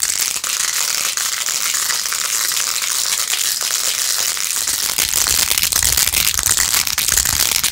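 Long acrylic nails fast-scratch across rows of pink plastic pearl beads glued onto a handheld, rose-gold-edged plastic phone case. The result is a steady, dense, bright crackling and rattling scratch that grows slightly fuller and louder in the second half.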